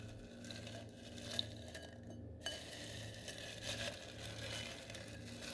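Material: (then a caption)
Styrofoam. A tilted bowl of small gold glitter styrofoam balls is stirred and massaged with fingertips and nails. The result is a soft, continuous rubbing and rustling with bright, crackly grains. A low steady hum runs underneath, with a few faint sharp ticks standing out.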